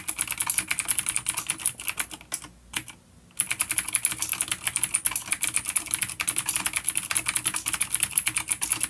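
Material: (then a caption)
Plastic. Fingertips of both hands type rapidly on the grey keycaps of a full-size dark plastic vintage mechanical keyboard with Cherry MX Blue clicky switches, resting on a wooden desk. A dense stream of sharp, bright clicks carries little low end. The typing pauses briefly for about a second near the three-second mark before resuming at a steady pace.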